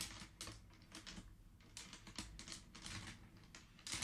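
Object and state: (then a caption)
Wooden abacus beads clacking. Fingertips rapidly push many colored wooden beads along the metal rods of a wooden abacus, producing dense, bright clacking. The clicks come in quick, overlapping bursts over a steady low rumble.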